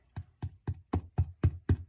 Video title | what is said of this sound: Katie Cooks ~Quarantine Kitchen ~ Irish Soda Bread | Sounds hollow. So that's how we know our bread's nice and cooked all the way through.